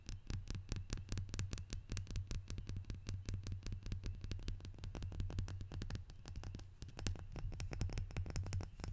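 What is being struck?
Glazed ceramic salt shaker.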